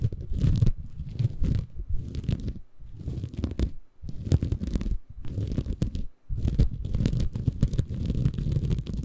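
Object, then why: Bamboo fiber sponge. A small, soft, compressible green porous bamboo fiber sponge, held in both hands above a Tascam recorder, is scratched and squeezed with the fingertips. The result is a dense, muffled, low crunchy rumble of close scratching and crinkling, broken by a few brief pauses.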